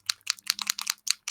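A plastic ink re-inker bottle is shaken again to free the metal ball bearing stuck in the settled ink so the contents mix. The bearing rattles inside in a quick run of bright, dry, clicking taps with no ring.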